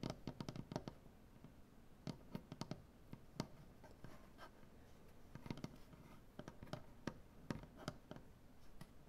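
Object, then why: Maple butcher-block tabletop. Both hands with painted nails scratch and tap a large solid maple butcher-block tabletop. Quiet, dry scratching runs throughout, broken by short, sharp clicks and taps that come in quick clusters and die away almost instantly. The sound stays low and soft, with little high, bright content.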